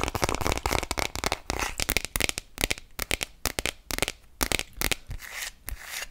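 Long nails tap quickly on an empty clear plastic glitter phone case held horizontally, making a rapid run of short, bright, clicky taps with very little ring. Toward the end, the tapping gives way to softer, scratchy rubbing across the plastic.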